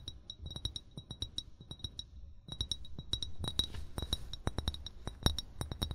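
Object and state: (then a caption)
Amber glass bottle. An upright, hollow amber (brown) glass wine bottle, fill level not visible, is tapped rapidly with the short fingernails and fingertips of both hands. The result is a quick run of soft, dull low thumps, each carrying a bright, high glassy click that dies away almost at once.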